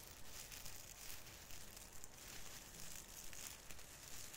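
A hand strokes and pinches the branch tips of a small plastic artificial Christmas fir tree with plastic needles, crinkling them. The result is a quiet, steady series of dry, bright crinkles and rustles that swell and fade in a loose rhythm over a soft low rumble.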